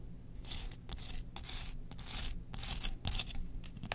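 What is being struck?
Bamboo slotted spoon.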